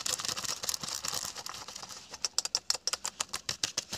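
Fingertips and short nails scratch and rub fast over worn beige/khaki cotton twill trousers on a seated person's thigh and hip pocket, a flat fabric surface. A dense, bright, hissing rub fills the first half, then breaks into quick, separate, crisp scratches with almost no low end.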